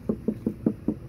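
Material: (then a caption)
Sheet metal. Six knocks on another spot of a 2021 Audi e-tron Sportback car door panel produce short, dull thuds with a low pitch around 215 Hz and almost no ring. The spot sounds a little less damped than the rest of the door but still solid thanks to the sound-deadening material.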